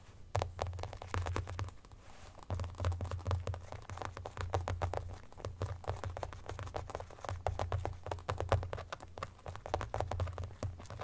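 Fingernails tap and scratch the back of an empty white marble-pattern hard plastic phone case with a black rim, lying on a blanket. Rapid, dry clicks and short scratches come in quick, uneven bursts, each dying away almost at once. A steady low hum runs underneath.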